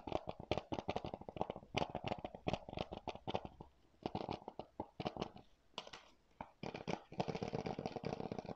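Fingertips and nails tap and scratch the plastic cover of a single hollow blue plastic PS4 game keep case held in both hands. Rapid, dry clicking taps with very short ring run in uneven bursts, separated by brief quiet gaps. A denser stretch of scratchy, rustling friction at the end adds a bright hiss.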